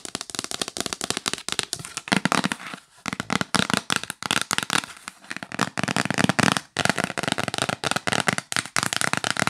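Long nails tap fast on the lid of a hollow yellow L'Occitane cardboard box, near the logo and along the top edge. Dozens of sharp, dry clicks come in quick bursts with short pauses between them. Each tap is bright and dies away almost at once, with little low end.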